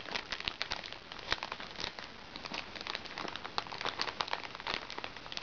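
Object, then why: Plastic-film makeup bag. A small, flat, hollow makeup bag made of recycled plastic sachet film, lying on a lap, is tapped and scratched with the tips of long red-painted fingernails. Dense, bright crinkling and crackling fills the clip, with many quick taps standing out from a steady rustle.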